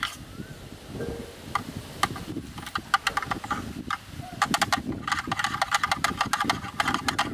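Two thin yellow bamboo-like sticks tap and knock on the rim and inside walls of a hollow, open-ended black plastic rectangular lens hood held by hand in front of a camera. The result is an irregular series of short, dry, bright clicks that grow denser toward the end, with hollow knocks centered around 1.2 kHz. A soft, low rustling runs underneath throughout.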